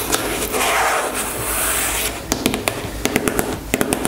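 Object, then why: Plastic squeeze tube. Long nails scratch across a white plastic cosmetic squeeze tube lying on a table, making a steady, airy rasping sound for about two seconds. This is followed by a series of quick, sharp clicking taps of the nails on the tube, each with bright, short-lived clicks.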